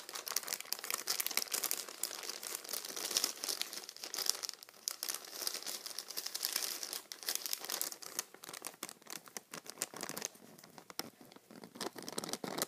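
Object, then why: Thin paper sandwich wrapper. A small, thin, empty white paper Subway sandwich wrapper is held in both hands while fingertips crumple and crinkle it, then rub and scratch its surface up close. The sound is a dense stream of bright, dry paper crackles and rustles with almost no low end. It eases into quieter, sparser scratching near the tenth second, then picks up again.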